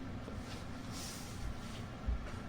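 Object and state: Nothing is struck.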